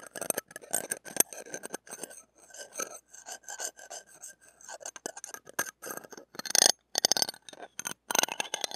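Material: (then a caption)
Steel mesh. The shaft of a stainless steel ear pick rubs and rasps across a small hollow metal-mesh microphone head with a metal ring. The result is a dense series of short, bright, scratchy scraping bursts with almost no low end, some louder and harsher strokes near the end.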